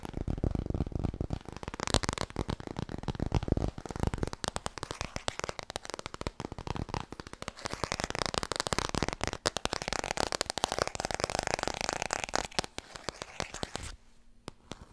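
Long nails rapidly tap and scratch a small, solid laminated cardboard board book, first held close and then in front of the chest. The result is a dense stream of sharp, dry clicks and scratchy crackles with full low thump and bright edges. The sound drops to near quiet in the last second.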